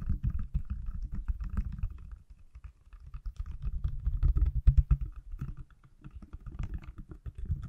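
A pale green silicone/plastic case on an iPhone, hand-sized and solid, is held in one hand and tapped on the back with fingertips and nails. Rapid, dense flurries of soft, low thudding taps come with faint brighter clicks from the nails. The tapping runs in bursts, easing into quieter, sparser patches before picking up again.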